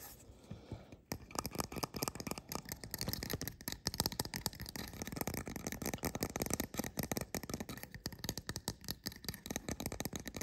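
A small painted resin fairy-house figurine with two red-and-yellow mushroom caps and a solid-looking body is held in the hand and turned while fingertips and nails tap and scratch its caps and stem. After a quiet first second, a fast, dense run of short, dry clicks and scratchy scrapes continues steadily to the end, with a bright hiss running through it.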